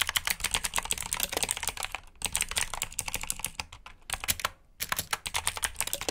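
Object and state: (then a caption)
Plastic mechanical keyboard (clicky switches). Fingertips type steadily on the keycaps of a black plastic mechanical keyboard with blue switches, producing a fast stream of bright, sharp clicks. The typing pauses briefly around the two-second and four-and-a-half-second marks before resuming.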